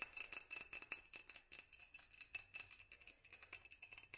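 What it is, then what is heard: Glass jar tapped with fingernails. A small hollow glass mason jar in a black studded sleeve, held in one hand, is tapped quickly with long nails on both the glass and the studs. The result is a quiet, steady stream of short, bright clicks and clinks with a faint glassy ring near 2.6 kHz that dies away almost at once.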